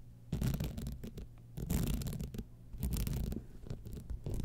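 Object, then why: Glass rhinestone clutch bag. Long manicured nails scratch across a small, hollow, empty-looking gold evening clutch bag covered in glass rhinestones set on a metal and fabric base, lying on its side on white fur. The scratching comes in uneven bursts of dry, low, rumbling rasps with brief ticking clicks.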